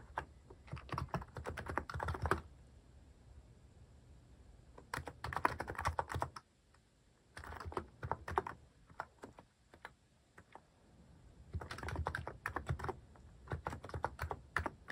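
Fingertips type on a mechanical keyboard fitted with cat-shaped plastic keycaps, producing quick runs of soft, clacky keystrokes. The typing comes in bursts separated by short quiet pauses, each press a short tap with a deep thock low in the body and very little bright edge.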